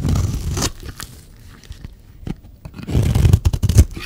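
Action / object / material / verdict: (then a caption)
scrape / dry bar of soap / soap / none. A metal utility-knife blade scrapes the edge of a solid, oval, dry red bar of soap held in the hand. A rough, crumbly scraping and tearing burst opens the clip, a quieter stretch of faint scratches follows, and then a second louder run of gritty scrapes with sharp peaks closes it.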